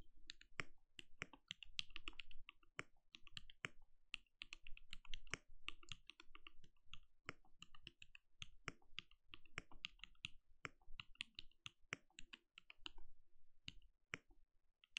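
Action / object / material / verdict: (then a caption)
tap / mechanical keyboard with plastic keycaps / plastic / none. Bare fingertips of both hands type steadily on a compact RGB-lit mechanical keyboard with a translucent plastic case and plastic keycaps, resting on a desk. A quick, continuous stream of short, bright plastic clacks, each dying away almost at once, sits over a soft low hum.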